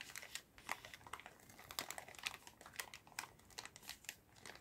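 A clear plastic zip bag full of paper-stick cotton swabs is held in both hands, squeezed and shaken. The plastic gives bright, crisp crinkles while the swabs rattle inside in quick, sharp bursts that fade almost instantly, all at a fairly quiet level.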